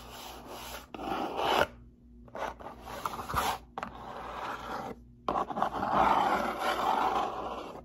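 A closed, hollow brown cardboard box is held up and its top surface is scratched and rubbed with fingertips and long nails. Dry, rasping scratches come in uneven bursts with short silent gaps, concentrated in the midrange around 900 Hz with a faint high hiss.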